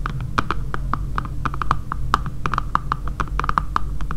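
Long painted nails tap rapidly on the back of a dark grey matte plastic phone case with a camera cutout, lying flat on a table. The result is a quick, irregular stream of short, dry clicks with a tonal tick around 1.2 kHz, over a steady low hum.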